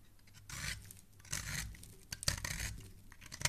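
A metal utility knife blade scrapes and carves the edge of a solid pink soap bar held in the hand, peeling off long curled shavings. Quiet, bright, rasping scrapes come in short bursts, with a few sharp clicks as the blade catches, and a low hum underneath.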